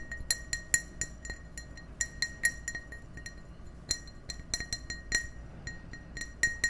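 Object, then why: Glass drinking glass. An empty, hollow, clear ribbed drinking glass held close to the microphones is tapped with fingertips and nails in an uneven rhythm of about twenty light taps. Each tap gives a short, bright glassy clink with a ringing tone near 1.9 kHz and high overtones, fading almost instantly over a soft low background hum.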